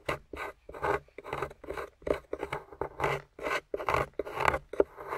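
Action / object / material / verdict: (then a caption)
scrape / plaster block scraped with a metal pick / plaster / none. A metal pick scrapes and chips at a grey plaster slab holding a yellow fossil, which lies on a table while fingers hold it steady. The result is a rapid series of short, gritty scraping and rasping bursts, mostly midrange with bright edges and separated by brief pauses.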